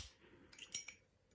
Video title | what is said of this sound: Zippo - Genuine VS Other Brands | listen it's really lost its tension